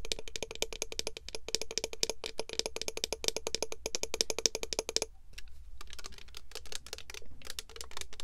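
Long nails tap rapidly on the gold cap and body of a clear plastic Pure Seduction mist bottle filled with red liquid. Dense, bright, dry clicks come in a fast stream for about five seconds, pause briefly, then continue more sparsely and softly over a steady low hum.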